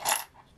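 Seashells kept in a bowl clink and rattle together in one brief, bright burst that fades quickly.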